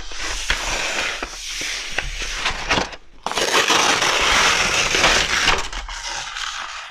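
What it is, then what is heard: Kraft paper wrapping roll. A large, hollow roll of brown kraft wrapping paper on a wooden table is rubbed and pressed with palms and fingertips as it is unrolled flat and then rolls back up. Dense, bright crinkling and crackling runs throughout, with sharp snaps and a brief quieter dip just before three seconds, then a louder sustained rustle.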